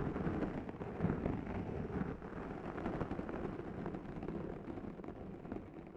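Two sponge scourers are pressed against the sides of a black foam microphone windscreen and scratched back and forth by hand. The result is a dense, continuous rumbling scratch with rough crackling bursts, heavy in the lows and muffled with almost no bright content.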